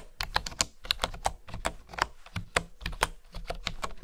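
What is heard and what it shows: Fingertips and nails type on a bamboo wooden keyboard, tapping the keys in a quick, uneven run of short clicks. Each tap is dry and dies away almost at once, with a bright clack over a soft low thud.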